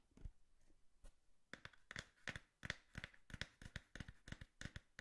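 Long manicured fingernails and fingertips tap a small, empty, hollow brown corrugated cardboard box held beside the mic. The result is a quiet, uneven run of short, dry taps, each with a dull low thump and a bright click near 1.8 kHz that dies away almost at once.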